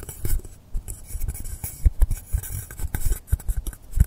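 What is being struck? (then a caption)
Polystyrene foam block. Fingernails scratch and tap the top surface and edge of a long, solid blue polystyrene foam block set at an angle on a table. The result is a run of short, dull, low thumps with no ring, mixed with dry, bright scratching rasps.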